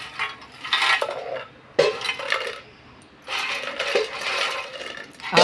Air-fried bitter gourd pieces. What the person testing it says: मस्त कुरकुरीत आवाजावरन कळतच असेल तुम्हाला कुरकुरीत आवाज येतो